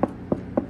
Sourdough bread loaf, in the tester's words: if you knock on it and it's hollow that means it's a good one